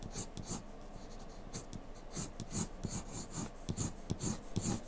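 A hand scratches and shades with a graphite pencil tip across a single flat sheet of white drawing paper bearing a graphite portrait, lying on a dark table. Quiet, irregular bursts of dry, bright scratching and rasping follow one another throughout, each stroke brief with a soft low thump beneath it.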